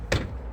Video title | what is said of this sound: Przekładnia kierownicza Ford Mondeo Mk4 | ewidentnie słychać jak pukam czyli uderzam w drążek kierowniczy i uderza rozdzielacz o zęby